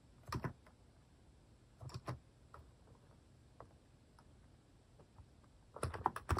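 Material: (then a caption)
Plastic. Fingertips type on a cream plastic mechanical keyboard fitted with plastic cat and paw keycaps. Short, crisp key clacks come in loose bursts, with a quiet gap in the middle and a dense flurry at the end. Each press is dry and ends almost instantly.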